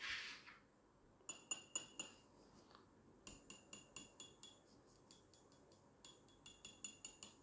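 A 1-kilogram Metalor Swiss silver bullion bar is tapped repeatedly, giving short, bright clinks with a high, ringing tone. The ring is characteristic of real silver. A brief hiss opens the clip before the taps.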